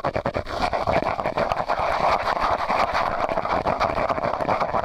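A medium, hollow, empty white disposable plastic cup held over a microphone is tapped and scratched with fingernails. Quick tapping gives way to a dense run of crisp taps and scratches. The cup adds a hollow, resonant tone around 680 Hz with a little high hiss.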